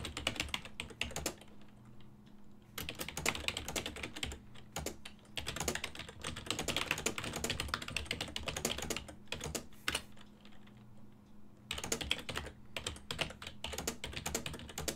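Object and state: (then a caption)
Plastic computer keyboard. Fingertips type on a full-size black and silver plastic ergonomic desktop keyboard with hollow key switches, producing bursts of rapid, bright plastic clicks. Short pauses break up the typing, and a faint steady low hum runs underneath.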